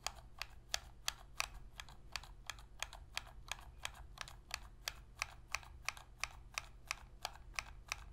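Long nails tap and scratch the back of the hollow plastic shell of a black PS3 controller held edge-on in both hands. They make a steady run of sharp, bright, dry clicks with almost no ring, over a faint continuous low hum.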